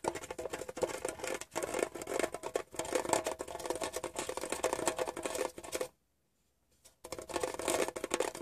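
Fingertips tap rapidly on a small, hollow, rectangular metal Wrigley's chewing gum tin, striking its printed side panel and the edge of the lid. The taps are light and clicky with a tinny ring around 640 Hz. They run in a dense stream that stops for about a second near the end, then resumes.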